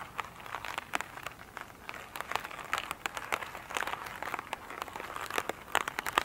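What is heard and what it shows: Long pointed nails scratch and tap an elongated oval foam sponge with a glittery surface, lying on a table, which is soft yet solid. Dense, dry crinkling scratches mix with quick, sharp clicks centered in the mid range with bright edges and almost no low end. Each tap dies away at once over a steady rustling bed.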